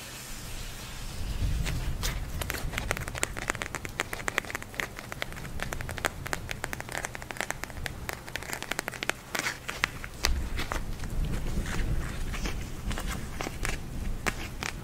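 A pink plastic gel eye mask filled with glitter beads is held in both hands close up and scratched and tapped with long nails. Dense, rapid, crackly clicks and taps run throughout, sounding much like rain on a surface, over a soft low rumble.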